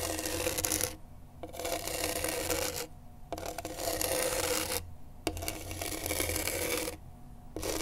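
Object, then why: Gritty skateboard grip tape scratched with a pen tip. A pen tip held in a gloved hand scratches across the gritty grip tape on a skateboard deck. It makes rough, bright, raspy strokes in roughly second-long bursts, separated by brief quieter pauses. A steady low hum runs underneath throughout.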